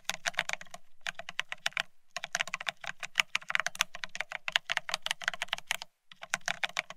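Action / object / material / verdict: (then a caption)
tap / plastic split ergonomic keyboard / plastic / none. Fingertips of both hands type fast on a full-size beige split ergonomic keyboard with plastic keycaps. Rapid streams of bright, crisp plastic taps and clacks with almost no ring, broken by three short pauses, each key carrying a faint low thud beneath.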